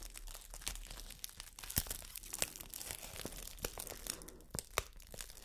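A large, thin, empty clear plastic wrap bag is unfolded, stretched and crinkled with the hands and long nails. The result is a steady, dense crinkling with sharp, bright crackles and snaps that die away almost instantly, plus a faint low rumble underneath.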